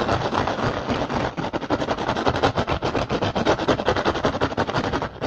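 One hand rapidly scratches and taps the weave of an upturned, hollow, empty woven rattan basket with nails and fingertips. The result is a fast, dense, dry crackle of rustling scratches and quick taps, mostly in the midrange with little low end. Each tap stops almost at once, with no ring.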